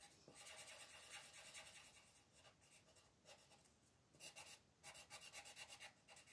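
A colored pencil rubs back and forth across a thin paper mandala page resting on a table, while the other hand, with long nails, holds the page in place. The quiet, bright, scratchy rasp of the strokes comes in a quick, uneven rhythm and grows stronger and choppier toward the end.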